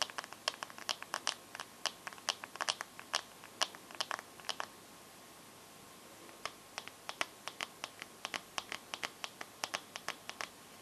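Long painted nails tap and scratch the glass screen and metal edge of a bare smartphone. Crisp, bright clicks come in quick irregular bursts, each dying away almost instantly. A quiet pause of about two seconds falls midway before the tapping resumes.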